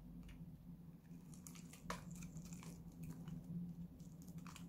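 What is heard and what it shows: A solid blue bar of dry soap, held in the hand, is repeatedly cut and scraped with a metal utility-knife blade, giving soft, dry crunching and scratchy rasps as crumbly flakes come away. The strokes are quick and uneven over a steady low hum.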